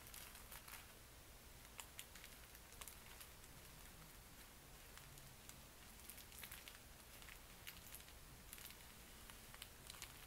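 Fingertips and palms press, rub and crinkle a flat, roughly book-sized red retail pack of thin, soft tissue wrapping paper in plastic packaging with a "20" label, lying on a satin bedspread, then lift and handle it. The result is a quiet, continuous crinkling rustle with bright, sharp crackles over a steady low background hum.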